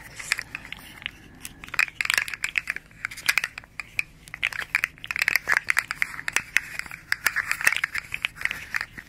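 A small, hollow, rainbow-striped, segmented hard plastic articulated slug fidget toy is held in both hands, flexed and rolled between the fingers, and tapped with long nails. Its segments click against each other in dense bursts of sharp, dry clicks and crinkly rattles. The sound is bright, centered around 2 kHz, with almost no low end and no ringing.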